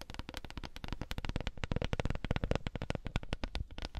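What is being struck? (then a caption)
Wooden coaster. A wooden coaster is tapped in a rapid, dense flurry of dry, clicky taps. Each tap is short with almost no ring, carrying a low, woody body beneath a crisp attack, and the taps continue steadily throughout the clip.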